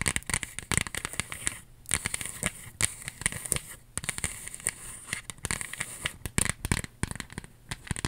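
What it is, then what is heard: Paper earring display card, tapped and scratched. A small white cardstock earring display card with a ribbon loop is held up, and its flat face is tapped and scratched with long acrylic nails. Dense, crisp clicks and dry papery scratching crackle with a bright edge. Each sound stops almost instantly, with brief quiet gaps between bursts.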